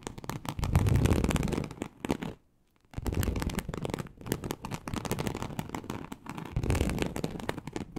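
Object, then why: Embossed leather sheet. Very long acrylic nails on both hands scratch a large, flat, teal snakeskin-embossed leather sheet (likely faux) lying on a surface. The result is a dense, rapid, crackling scratch with a heavy low rumble, broken by a brief silence just before the three-second mark.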